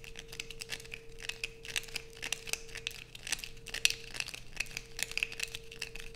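A solid blue bar of soap, held over a pile of shavings, is scratched with long nails. Quick, bright, crackly scratches come one after another in a dense stream, with a faint steady hum underneath.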